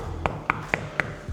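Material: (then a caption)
Concrete. Four knocks on a solid concrete wall shared between apartments. They give short, dull taps with a brief bright click and almost no ring, as expected from concrete.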